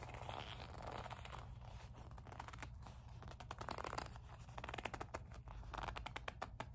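Long nails grip, squeeze and scratch a small, hollow black leather coin purse with a metal kiss-lock frame, and the clasp is handled. Soft rubbing and crisp scratching rasps come in quick, uneven bursts over a steady low hum.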